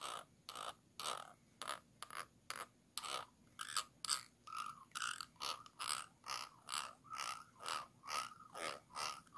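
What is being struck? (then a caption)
Small empty glass jar. A small, round, clear glass jar, hollow and empty and held upside down, has the ridges around its base and neck scratched with a thin stick-like tool. A quick, fairly steady run of short, bright, raspy scrapes follows, each with a ridged, ratchet-like texture and a slight glassy ring, and each stops almost at once.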